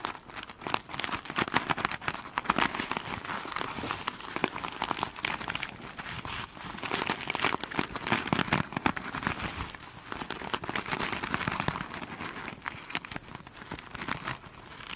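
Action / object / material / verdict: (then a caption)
scrape / foam sponge with glitter mesh cover / foam, mesh fabric / none. Long pointed nails scratch and tap a flat rectangular foam sponge covered in sparkly glitter mesh fabric, which is soft and solid. A dense, continuous crinkling and crackling texture results, with rapid, bright scratchy strokes rising and falling in waves of intensity.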